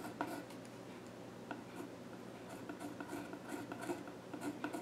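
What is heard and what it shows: A graphite pencil held in the hand scratches sketch lines across the flat top of a solid, dark-stained wooden child's stool. Quiet, dry rasping strokes repeat steadily over a faint low hum, with brief brighter scratches standing out now and then.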